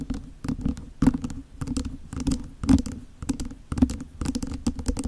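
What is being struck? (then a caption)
Small plastic desk fan grille. Long nails tap and scratch the plastic grille of a small hollow plastic mini electric desk fan held over the microphone. The result is quick, irregular clusters of dry clicks and scrapes with a low, hollow plastic tone around 220 Hz. Each hit dies away almost instantly.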